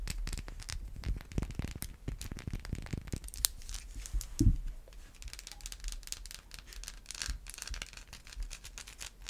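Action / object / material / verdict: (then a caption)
scrape / bar of soap / soap / none. Long white acrylic nails tap and scratch a solid white bar of Irish Spring soap with an embossed logo. Quick, dense bright scratches mix with soft, dull low taps, peaking in a louder knock midway before easing into lighter, scattered scratching.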